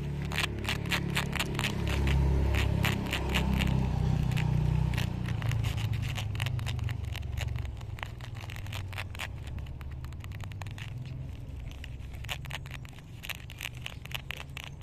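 Long pink nails scratch and tap the rhinestone-studded panel and white perforated leather toe of a sneaker worn on a foot outdoors. Quick, crisp clicks and scrapes come at roughly four per second over a steady low rumble. The sound is loudest in the first five seconds, then eases to a softer, steady tapping.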